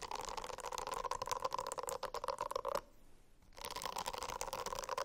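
Fingernails scratch a silicone-covered notebook in a dense, rapid raspy texture with a steady humming tone through it. The scratching stops for under a second in the middle, leaving near silence, then resumes just as busy and bright.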